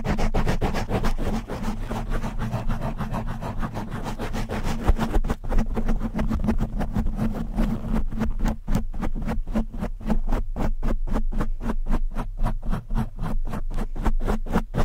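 Long nails on both hands rapidly scratch a black foam windscreen on a large microphone. This makes a dense, muffled, low-heavy rumble of quick scraping strokes, which turns into more distinct, evenly spaced thumping pulses in the second half.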